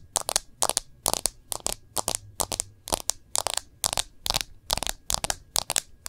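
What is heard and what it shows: Long nails on both hands tap the back of a smartphone in a clear plastic case. Quick, bright clicking taps come in rapid clusters with almost no ring. A faint low hum sits underneath.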